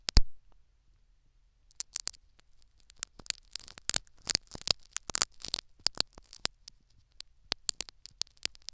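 Two metal syringe needles scratch and pick at a tan foam sponge plug sitting in the canal of a silicone ear microphone. After a loud opening thump, dense crackling scratches and sharp bright picks come in close succession, over a faint low hum.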